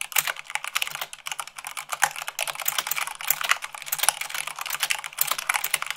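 Rapid typing with fingertips and long nails on a white plastic mechanical keyboard. A dense, fast run of sharp, bright clicks and clacks with very short decay and little low end.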